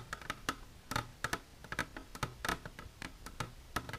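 Long natural nails with silver polish tap continuously on a plastic container, making a quick run of short, dry clicks with a hollow tone around 1.3 kHz. Each tap dies away almost instantly over a low background hum.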